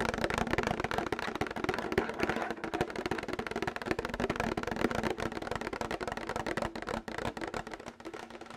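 Fingernails tap rapidly on a plastic milk jug throughout, making a dense run of light, hollow clicks with a faint tone around 240 Hz. Each tap dies away almost at once.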